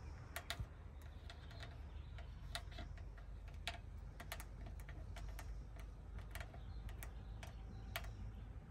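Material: Chrome metal.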